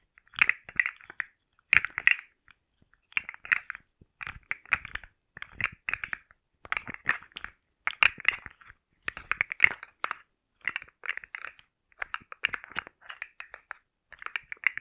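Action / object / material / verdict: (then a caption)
shake / hard plastic jointed fidget toy / plastic / none. A rainbow, hard plastic articulated slug fidget toy with hollow jointed segments is held in the hands beside the microphone, bent and shaken so its segments click, while nails tap on the segments. Dry, bright clattering clicks centered around 2 kHz come in rapid bursts separated by short pauses, with no lingering ring.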